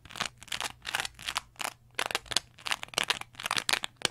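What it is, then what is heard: Cellulose sponge scratched with nails. A small green textured cellulose sponge, held in both hands, is scratched with long nails in quick, aggressive strokes. The result is a rapid series of dry, bright, crackly scratching bursts with almost no low end, each stopping abruptly with no ring.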